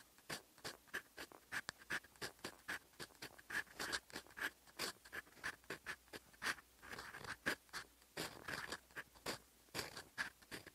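A fountain pen's steel nib scratches across a sheet of lined writing paper while writing in olive ink. Quick, dry scratchy strokes come in a rapid, uneven stream of short bursts, with a faint tonal squeak near 1.7 kHz and bright, hissy edges. There is almost no low end, and each stroke stops dead.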